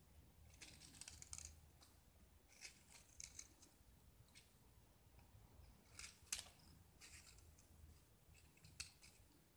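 A small solid white gypsum (plaster) block, painted green on the outside and held in one hand, is scraped and shaved with a metal utility knife blade, sending white chalky flakes into a pile below. Quiet, bright, gritty scraping strokes come in short bursts with brief pauses, each dying away almost at once over a low background hum.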